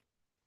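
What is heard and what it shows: A Morris clog dancing shoe is knocked once, giving a single short, sharp knock with a low-mid tone around 250 Hz at the very end of an otherwise quiet clip. The knock dies away almost instantly.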